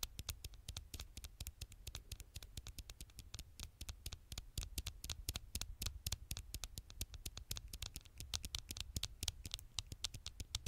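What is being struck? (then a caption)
Smartphone glass screen. Long nails tap and scratch quickly on the black glass screen of a smartphone held screen side out, the thin, solid glass giving sharp, bright clicks. The taps come rapidly and unevenly over a steady low rumble.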